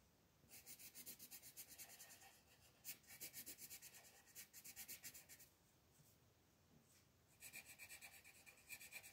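A colored pencil scratches and rubs a thin paper mandala coloring page on a table in short coloring strokes near the edge, while the other hand rests flat on the sheet. Quick, bright, scratchy strokes come in three runs separated by brief quiet pauses, with almost no low end.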